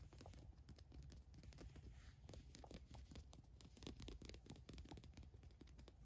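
Long nails scratch across the large white logo print of a black Adidas cotton t-shirt lying flat. The result is a quiet, continuous run of dry, crinkly rasping strokes, with a soft low rumble underneath and brief bright scratchy flicks.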